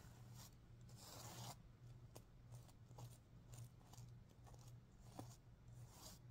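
Nails scratch and fingers rub across the plastic sequins on the green side of a stuffed sequin pillow. The result is quiet, rasping bursts of scratching with brief bright clicks, over a steady low hum.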